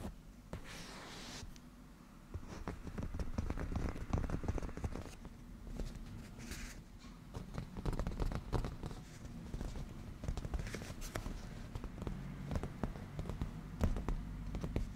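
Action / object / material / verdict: tap / padded leather cushion / leather / none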